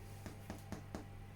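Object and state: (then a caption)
Baked bread loaf, hollow (done). A homemade white loaf, baked for about 25 minutes, is tipped over and tapped four times on the bottom, giving soft, dull, hollow knocks over a steady low hum. The loaf sounds hollow, meaning it is baked through and ready, and it is left to cool before cutting.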